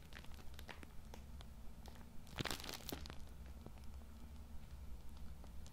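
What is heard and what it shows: Fingertips scratch and squeeze the plastic film of a Cool Mint tissue multipack, filled with tissue packs and held in both hands in front of the mic, making crinkles. Sharp, bright crackles and ticks sound over a steady low hum, with a denser, louder burst of crinkling near the middle of the clip.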